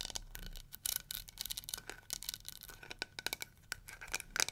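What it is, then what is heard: Plastic hair brush, nails scratching and tapping. Long nails scratch the bristles and tap the plastic back of a small, round, pink-and-yellow, flower-shaped plastic detangling hair brush. A fast run of short, sharp clicks and scratchy rasps sounds bright and crisp, with a faint steady tone near 1.5 kHz beneath them.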